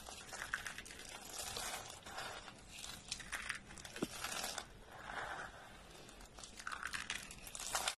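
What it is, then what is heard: Dry soap flakes being crushed. Dry orange soap flakes are snapped with the fingertips, then squeezed in a closed fist. The result is a dense, bright, dry crunching and crinkling in quiet bursts of brittle crackle with almost no low end and no ring after each snap.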